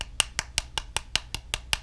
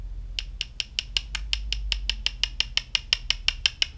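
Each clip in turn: First: Nine quick, dry clicks with no ring at all: soft printed resin parts tapped together, damping each hit. Second: Quick bright clicks near 3 kHz, each dying at once: two hard resin prints tapped end to end.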